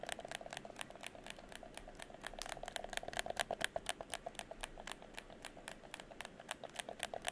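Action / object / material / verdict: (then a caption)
tap / plastic game controller / plastic / none. Fingertips press the buttons and tap the shell of a hollow red plastic gamepad held in front of the chest. The result is a rapid, irregular run of dry, bright plastic clicks and taps with no ring, over a faint low hiss.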